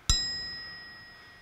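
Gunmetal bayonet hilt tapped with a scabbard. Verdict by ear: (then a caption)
Genuine. The gunmetal hilt of a genuine WWI Pritchard bayonet for the Webley revolver, held by the blade, is tapped once with its scabbard. It gives a single bright, clear metallic ring with a high pitched tone that slowly fades. The clear ring marks it as original, unlike the dull clunk of reproductions.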